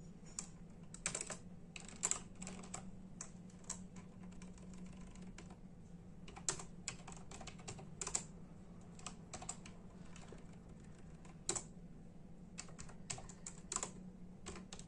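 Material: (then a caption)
Plastic. A full-size black and silver plastic membrane keyboard with hollow keys is typed on with the bare fingertips of both hands in a steady tapping. Quick, dry clicks with bright edges rise over a low, constant hum, with a few harder strikes standing out.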